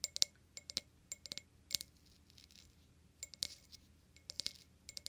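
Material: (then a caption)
Glass. An empty clear glass wine glass is held upside down while its foot and stem are tapped quickly with fingernails. The result is a rapid series of short, bright clinks with almost no low end. The taps come in quick clusters separated by brief quiet gaps.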